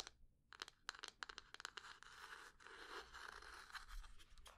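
Long fingernails tap and scratch the sides of a small, rectangular, light-brown hollow wooden box held in both hands. A run of sharp, dry clicking taps gives way to a steady, bright scratching rasp, with more taps scattered through it, all quiet and close.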